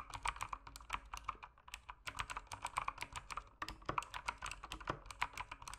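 Fast fingertip typing on a backlit mechanical keyboard with plastic keycaps produces a rapid run of about 35 sharp, clacky keystrokes. The strokes center around 1 kHz with bright tops and die away almost instantly. The typing comes in bursts with brief pauses near 2 and 3.6 seconds.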